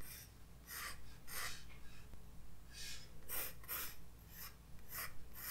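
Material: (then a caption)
Paper. A graphite pencil tip draws light strokes across a white paper page of a spiral-bound sketchbook resting on a desk. Short, bright, scratchy rasps repeat in quick bursts over a quiet low hum, each stroke fading quickly.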